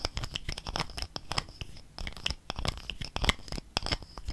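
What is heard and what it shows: A gold-coloured plastic cosmetic squeeze tube, held horizontally in both hands, is scratched and tapped with fingernails along its body. The result is a rapid, uneven run of sharp, dry clicks and scratchy crinkling rustles, bright on top with a low thump beneath, each sound stopping almost at once.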